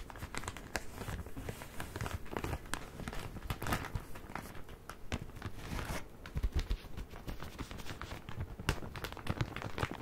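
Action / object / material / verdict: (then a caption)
scrape / soft plastic bag filled with cotton pads / plastic / none. A medium soft plastic bag filled with cotton pads is held in one hand and squeezed and crinkled with fingertips and painted nails. The result is a steady, quiet stream of dense crinkling and crackling, with sharp little snaps scattered throughout and no long ring after each.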